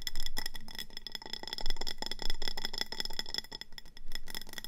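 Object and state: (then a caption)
Ceramic planter pot. Long painted nails tap and scratch quickly around a medium round ceramic planter with a speckled grey body and an orange glazed rim, filled with pebbles and a succulent. The rapid, dense clicks come with scratchy rubbing and a faint bright, glassy ring that fades almost instantly after each tap, swelling and easing in loudness over the clip.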